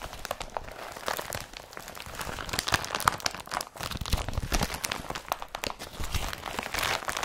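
An empty blue IKEA BRATTBY carrier bag of woven polypropylene is scrunched and smoothed by both hands. The result is a steady stream of dense, bright crinkling and crackling with quick rustles and soft, low thumps, and no lingering ring between the crackles.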